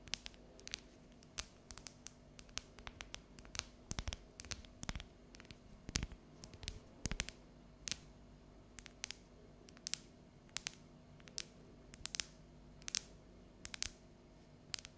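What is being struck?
Dark chocolate bar tapped and scratched with fingernails.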